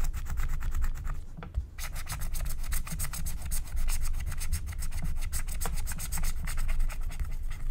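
A wooden stylus scrapes the black wax coating off a flat, thin scratch-art paper card in quick, repeated rubbing strokes. The result is a steady run of short, dry scratches with bright, crisp edges over a low rumble, with a brief pause early on.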